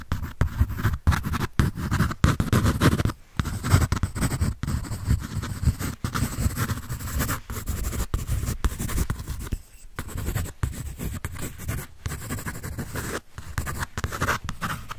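A pencil scratches and shades across a white paper drawing sheet from a paper sketch pad, held close to the mic. Dense, steady scratching strokes with a heavy low body carry on for the whole clip, broken only by brief pauses between strokes.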